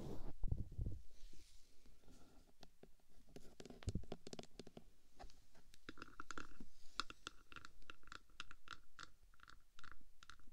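Long painted fingernails scratch and tap along the top of the hollow black metal case of a 3Dio microphone. A low, rough scraping rumble opens the clip, then gives way to quick, dry clicks and taps, with a hollow mid-pitched ring sounding under many of the later taps. The sound stays quiet and close throughout, each tap dying away almost at once.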